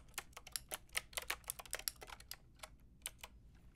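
A white and pink Lofree mechanical keyboard with round plastic keycaps is typed on with long painted nails and fingertips. About nineteen short, bright clicking taps come in an irregular rhythm, quick and dense for the first two seconds, then sparser and softer. Each tap stops dead with no ring.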